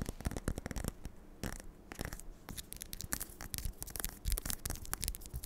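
Long nails scratch the spine and then the back cover of a Dance of Thieves paperback with a cardstock cover. The result is a quick run of short, dry, bright scratching strokes with a faint low rumble beneath and brief quieter gaps between flurries.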